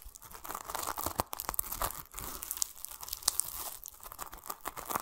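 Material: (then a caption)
Fruit peel, plastic. Fingertips and short nails scratch and rub over a large, solid whole pomelo wrapped in a yellow-green plastic mesh net and held in both hands. The result is a dense, dry crackle of quick scratches and crinkly tearing-like rasps, bright and hissy, with many short sharp ticks and almost no low end.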